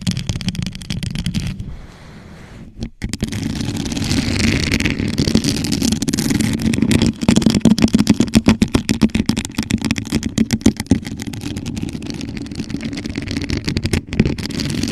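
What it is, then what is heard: Rhinestone-covered plastic tumbler. Long acrylic nails on both hands tap and scratch the rhinestone surface of a hollow, empty, gold rhinestone-studded plastic Starbucks-style tumbler set upside down over a microphone. Rapid, irregular clicky taps and gritty scratches layer over a low hollow resonance near 220 Hz, with a brief quieter lull around two seconds in. The taps grow dense and sharp mid-clip, then settle into softer scratching.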